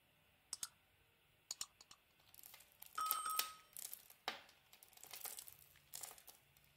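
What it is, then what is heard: Bar of olive and argan soap being shaved. A palm-sized, solid cream-colored olive and argan soap bar is held in the hand and shaved with a metal box-cutter blade, making crisp, dry scraping clicks in quiet surroundings. Midway, a longer bright scrape carries a thin squeak near 1.3 kHz as a stiff shaving curls off, followed by soft crunching crackles as the shavings crumble.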